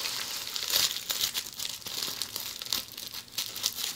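A roll of red plastic bubble wrap held in hands is scratched and rubbed by long polished fingernails. It makes a steady, bright crinkling hiss with quick scratchy bursts and almost no low end.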